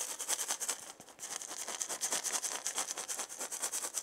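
A wooden maraca with a wooden handle and a hollow ball is shaken slightly while its handle is gripped and rubbed with long painted nails and fingertips. Quick, uneven scratchy strokes and light rattles sit almost entirely in the high, bright range, briefly pausing near the one-second mark before continuing steadily.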